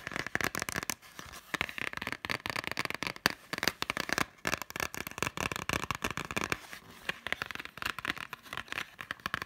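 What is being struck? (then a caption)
Plastic Blu-ray case with cardboard slipcover. A green Totoro Blu-ray case with a cardboard slipcover, small and hollow, is held upright while fingertips and short nails tap fast on its front cover. The taps come as a dense, crackly patter of dry clicks, bright with little low end and a midrange peak near 1.7 kHz. Each tap dies instantly with no ring.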